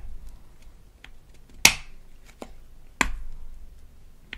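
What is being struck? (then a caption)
Small hard plastic toy tube and cap. Long nails tap the flat end of the plastic cap and the body of a small, rigid plastic toy toothpaste tube from a Melissa and Doug Super Smile Dentist Kit. Three sharp, bright clicks stand out over a quiet background, centered around 2.5 kHz, with fainter taps in between. Each click dies away almost instantly.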